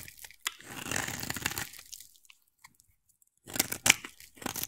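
A utility knife blade scrapes and carves a hand-sized, solid oval white bar of soap, shaving off white curls. A long, bright, crumbly rasp fades into near silence with a few faint ticks, then a cluster of sharp, crisp scrapes and crunches follows. The sound is dry and high-pitched, with almost no low end.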